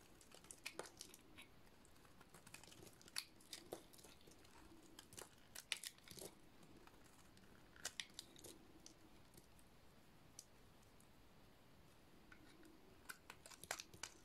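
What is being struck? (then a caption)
Soap bar shaved with a metal blade. A solid, rectangular white bar of dry soap with a studded face is shaved with a metal blade. Quiet, dry scraping is broken by many sharp, bright crackling clicks and crunchy snaps in scattered bursts, set against a faint low hiss.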